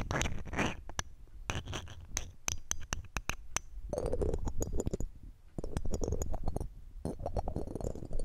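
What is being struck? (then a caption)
Metal mesh microphone grille scraped with a gem ring. A red-gem ring with a metal setting, held in metal tweezers, scratches along the round metal mesh grille of a silver condenser microphone and its rim. Close, rumbly rasping alternates with quick, sharp metallic ticks and clicks. Bursts of grainy scratching come and go in short pauses.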